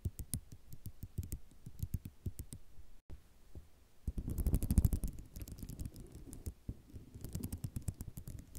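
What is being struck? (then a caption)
Ceramic mosaic tile sheet. Long nails on both hands tap and scratch a flat sheet of small white square ceramic mosaic tiles lying on black cloth. Dozens of quick, dry clicks come at an irregular pace. After a brief silence near the three-second mark, they swell into a louder, denser rattling scrape before settling back to scattered tapping.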